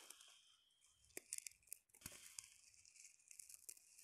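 Long painted nails scratch and rake through a loose pile of hard, dried yellow split chickpeas (chana dal) on a fabric surface. The result is a quiet, bright, crisp rustling and grainy scraping, broken up by sharp, dry clicks and crunches as the pieces shift and knock together.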